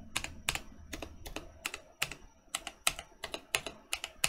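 Fingertips press the keys of a Mercutio 40% mechanical keyboard with Boba U4T switches and plastic keycaps, first with one hand, then with both. Each press gives a short, bright, clacky tap with little low end and almost no ring, forming an uneven run of quick typing strokes.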